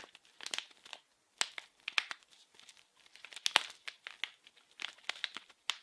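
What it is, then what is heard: Plastic film wrapper. A small blue printed plastic-film wrapped package is held in both hands and crinkled and scratched with fingertips and nails. Quiet, bright crinkling and crackling comes in irregular bursts with sharp, dry snaps and no low end.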